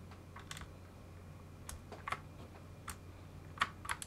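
Gloved fingertips press and type on a full-size mechanical keyboard with many switches exposed and plastic keycaps fitted on part of it, and a second hand joins in at the end. About nine short, sharp, bright clacks come at an irregular pace over a steady low hum, each dying away almost instantly.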